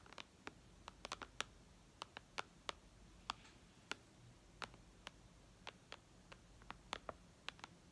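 Long red nails tap and click on the glass screen of a white iPad lying flat. About 23 short, bright, dry clicks land at an uneven pace, with a few in quick pairs, over a faint steady hiss. Each tap dies away almost instantly.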